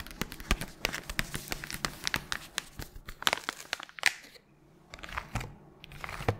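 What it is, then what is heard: Crinkled paper guitar-string packet. A small, flat pink guitar-string packet with a thin paper/foil sleeve is crinkled and squeezed by gloved fingers with long nails while being moved around the head. It makes dense, bright, crackly crinkles with sharp snaps, eases into a brief quiet lull, then resumes with more scattered crinkling.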